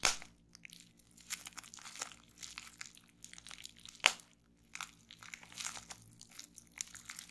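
A small folded piece of clear plastic bubble wrap with air-filled bubbles is held on a wooden table while fingertips with long painted nails squeeze and pop the bubbles. Sharp, bright pops stand out, with the loudest near the start and around the middle. Softer crinkling and crackling of the plastic fills the gaps between them.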